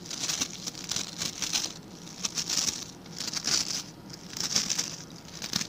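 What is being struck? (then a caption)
Plastic scrub brush with stiff plastic bristles. Fingertips and nails scratch and flick the stiff white and blue plastic bristles of a hand-sized blue plastic scrub brush. The result is bursts of bright, crinkly scratching and rapid ticking flicks that swell and fade in uneven waves, with almost no low end.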